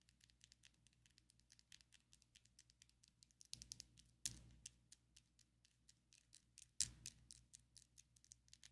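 Long coffin-shaped ombre acrylic fake nails on both hands tap quickly against each other, producing a steady patter of bright, dry clicks with almost no ring. Two louder, sharper taps stand out in the middle of the quiet stream, over a faint low hum.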